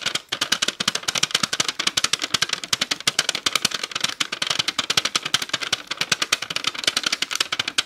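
Long acrylic nails tap quickly on the lid and base of a small clear plastic tub full of purple slime. The result is a fast, steady stream of sharp, bright clicks with almost no low end, each dying away instantly and centered around 3 kHz, like a rattling typewriter.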